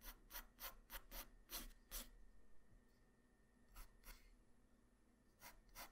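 A graphite pencil tip draws guideline strokes across a flat white paper sheet, making about ten short, bright scratching strokes. The strokes come in a quick irregular burst, pause for a moment, then return more sparsely over a quiet low background hum.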